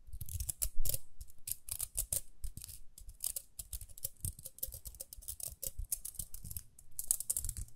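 Long fingernails rapidly flick and scratch the toothed rim of a small round pink plastic hair brush with dark bristles. The result is a quick, uneven run of bright, crisp plastic clicks and scratchy ticks over soft low thumps, each snap dying away almost at once.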